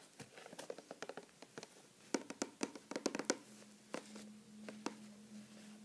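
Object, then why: Cardboard box. Fingertips and short nails tap the sides of a closed, medium-size printed cardboard product box for a neti pot, holding its contents and standing on a wooden table. The result is quick, dry, papery taps with a bright edge in an irregular patter, heaviest in the middle. A faint steady low hum lingers under the last few seconds.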